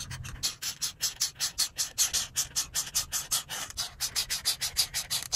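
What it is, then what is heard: Marker rubbing on a paper colouring page. The felt tip of a grey-bodied alcohol marker, held in a hand with long pink nails, rubs in short back-and-forth strokes across a flat printed paper colouring page with a cube-pattern design resting on a table. About thirty quick, dry, scratchy strokes follow in a loose, uneven rhythm; each one is bright and hissy, with almost no low end, and stops short with no ring.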